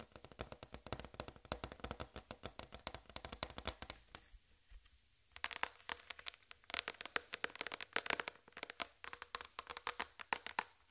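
Long red fingernails tap and scratch a large, flat white plastic tray with a raised rim that lies on black fabric. The result is rapid, bright, dry clicks with almost no ring, broken by a brief quieter stretch of softer scratching before the tapping resumes.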